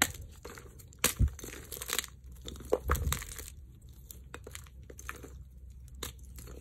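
Both bare hands squeeze, crush and rub broken, solid, dry white magnesium carbonate gym chalk blocks and loose powder in a dark bowl. Dry, bright crunches and crumbling crackles come in irregular bursts over a low rumble. The chalk pieces crumble into powder.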